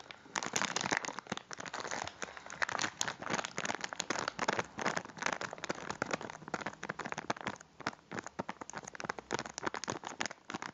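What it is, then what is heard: Plastic biscuit wrapper. A full cylindrical packet of biscuits in a crinkly plastic wrapper is held in both hands and squeezed and crinkled with the fingertips. Dense, continuous crackling and crinkling fills the clip with bright, dry rustles and little low end. The bursts crowd together, then thin out into separate crinkles toward the end.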